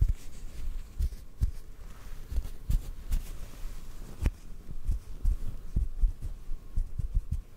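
A small white fluffy cotton ball is held in the fingers close to the microphone and tapped gently with fingertips and short nails. Soft, dull, low thuds repeat unevenly over a faint steady hum, each one dying away almost at once.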